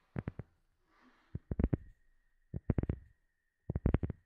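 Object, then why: Flat rubber sheet. Long fingernails of both hands tap and scratch a round, flat black rubber sheet held in front of the microphone. Short, dull, low thuds come in quick clusters of two to five, with a soft scratchy rustle between the first groups and a faint steady tone underneath.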